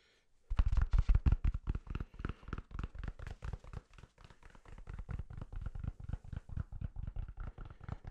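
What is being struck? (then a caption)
Paper toilet roll with cardboard core. A soft, full roll of white toilet paper with a cardboard core is held in the hand and tapped rapidly with fingertips and nails. It gives about 36 short, dull, low thuds over eight seconds, louder at first and then softer and steadier.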